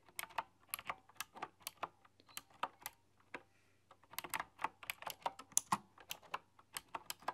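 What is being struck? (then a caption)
Keyboard with round metal-rimmed keycaps. Fingertips and long, dark-polished nails type on a full-size, typewriter-style computer keyboard with hollow, round chrome-rimmed keycaps. The quiet, bright, clicky taps stop almost instantly and come in quick bursts. The typing pauses briefly in the middle, then resumes in a denser run.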